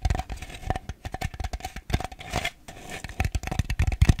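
Fingernails tap and scratch the outside of a small, ribbed, white plastic bowl that is hollow and empty and held upside down. A quick, irregular run of short, dull, hollow taps with a low thud is broken by brief, dry scratching passages, and each tap dies away almost at once.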